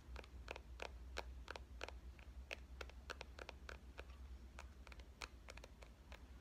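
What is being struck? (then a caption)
Compact digital camera, metal and plastic body. A small, hollow pink compact digital camera with a metal and plastic body is tapped on its front and back with fingernails. The result is a quick, uneven run of sharp, dry clicks with bright edges that stop at once without ringing, over a steady low hum.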